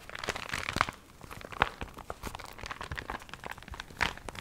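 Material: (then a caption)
Paper. A small water-wrinkled paper recipe booklet is held in both hands while its cover and pages are crinkled and flexed with long nails. Dry, crisp crinkles and short crunchy snaps are heard, with a few sharper, louder crackles standing out over a soft, steady rustle.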